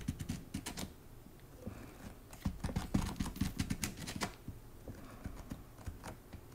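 Long nails tap rapidly and unevenly on the paper-covered inside board of an open hardcover book with a patterned paper endpaper. The taps are dull and low with short, bright clicky edges and little ring. They grow louder through the middle, then settle into softer, quieter tapping toward the end.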